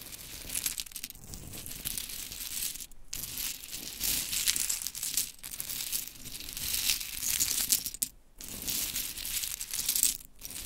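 Long chrome nails scratch and shuffle through a heap of small pink mini wooden clothespins, making continuous bright, dry clicking and rattling. The sound runs in steady bursts broken by brief pauses, near 3, 5.3, 8.2 and 10.4 seconds.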